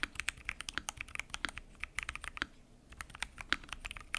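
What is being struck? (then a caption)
Mechanical keyboard with PBT plastic keycaps and acrylic case. Fingertips type continuously on a full-size mechanical keyboard with lubed switches, pink and mint PBT keycaps, and a transparent acrylic case. Quick, crisp clacks with bright tops and a clicky midrange around 1.4 kHz follow each other rapidly, with a brief lull near the middle before the typing resumes.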